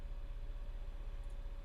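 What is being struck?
Nothing is struck.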